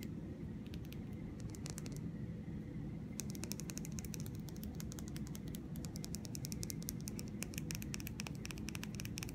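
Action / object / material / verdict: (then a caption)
tap / small glass bottle tapped and scratched with fingernails / glass / none. Long red nails tap and scratch the glass body of a small glass nail polish bottle with a black cap, filled with red polish. Quick, bright clicks come in rapid clusters, with a brief lull partway through, over a steady low hum.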